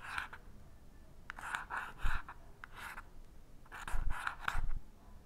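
An unlit green-tipped wooden match is rubbed and scratched back and forth along the purple abrasive striker strip of a small cardboard matchbox held steady. Short, dry scraping strokes come in bursts with pauses between, each with a rough midrange rasp and a soft low thump. The match does not catch, and no flame appears.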